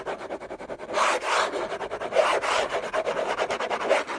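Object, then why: Cardboard gift box lid. Fingernails scratch the textured paper surface of a large, flat, hollow orange Hermès cardboard gift box lid. Quick, dry, raspy strokes alternate with louder, denser stretches of continuous scratching, with a papery midrange tone and almost no low end.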